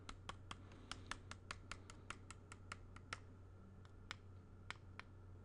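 Fingertips tap and trace on the glass front and black frame of a small square picture held close, giving 20 short, bright clicks at an uneven pace over a steady low hum. Each tap is crisp and dies away almost instantly, with faint scratchy tracing between them.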